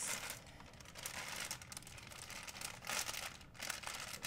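An empty white plastic shopping bag is folded and pressed with fingertips, giving a steady run of bright, dry crinkles and folding rustles. The bursts swell and fade continuously, with no low-end weight and almost no ring.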